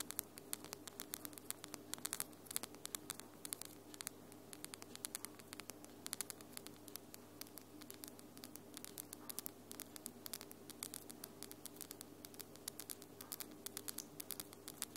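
Long glitter acrylic nails are tapped and clicked nail on nail in close-up. Rapid, sharp, bright clicks come in quick flurries over a steady low hum and faint hiss.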